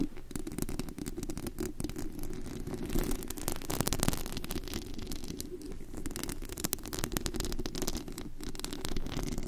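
Long pointed acrylic nails scratch and tap the hollow, white-painted metal mesh grille of a large condenser microphone, fingers moving over the dome. The result is a steady, dense crackle of scratching with a heavy low rumble and faint bright specks, occasional taps popping slightly louder from the texture.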